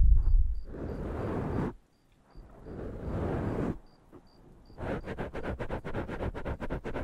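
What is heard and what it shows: Fingertips and nails of both hands scratch and tap two soft, porous black foam windscreens on studio microphones. Two bursts of dense, muffled, bass-heavy scratching are separated by a short quiet pause, followed by a quick run of soft, thumping taps.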